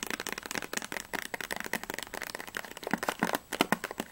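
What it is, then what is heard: Cardboard candy box. Fingertips and long nails rapidly tap and scratch the top and front faces of a small printed cardboard Ahoj-Brause candy box, which seems still closed and hollow, with its contents not visible. The result is a fast, continuous run of dry, papery clicks that die away almost instantly, with a hollow body around 290 Hz and a bright, scratchy edge.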